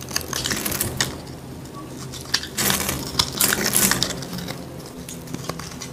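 A metal blade tool scrapes and carves a solid, dry, palm-sized green soap bar held in the hand, deepening a carved hollow in its face as shavings fall. The sound is a bright, dry, crackly scraping made of quick irregular scratches, with a denser, louder burst of scraping near the middle.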